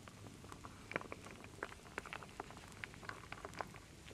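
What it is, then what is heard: Wooden beads and acorn pieces stirred in a wooden bowl. A wooden spoon scoops and stirs solid wooden beads and acorn pieces in a full wooden bowl. The result is a quiet, irregular patter of short, dry clicks and knocks with almost no ring, rather like light rain.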